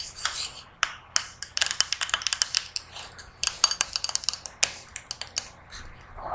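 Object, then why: Small hammered brass singing bowl. Long nails tap and scratch the outside of a small, hollow, hammered brass singing bowl that sits empty on a red cushion, first upside down and then upright. Quick, bright clicks come in an irregular series, each with a brief high metallic ring, between soft scratching. The bowl gives only short, thin pings rather than a sustained hum.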